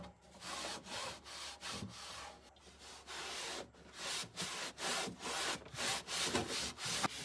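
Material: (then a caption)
Plastic. A hand sprays cleaner and rubs a pink microfiber cloth over the black molded plastic liner, with its ribbed back panel and side walls, inside an empty bedroom mini fridge's large hollow cabinet. The strokes are quick, uneven swishes of bright, airy friction with little low end, each rising and fading with no ring.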